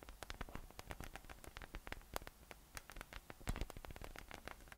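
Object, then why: Spiky PVC massage ball. Fingertips tap and rub the top of a yellow, hollow, inflated PVC spiky massage ball with nubs as it rests on a table. The result is a quiet, rapid, irregular run of short, dry taps and scratchy clicks over a low, dull thump. Each tap dies away almost instantly.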